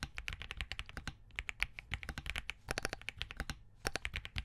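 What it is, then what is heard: Mechanical keyboard with POM case and plastic keycaps. Fingertips of both hands type steadily on a compact Spark67 mechanical keyboard with a POM case, Crane switches and green gradient plastic keycaps. Rapid bursts of short, crisp key taps with a bright click over a low thud are separated by brief pauses. Each stroke dies away almost instantly.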